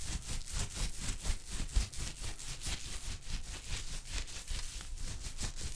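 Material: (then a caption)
Cotton. A loose wad of soft, thin, woven white cotton gauze, soaked wet, is held in both hands close to the microphone while the fingers squeeze, crumple and rub it. This gives a continuous run of soft, moist crackling and fizzy hiss, bright in the highs, pulsing roughly twice per second but unevenly, over a low, muffled rumble.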